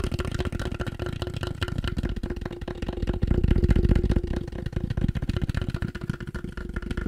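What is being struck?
Polystyrene plastic object.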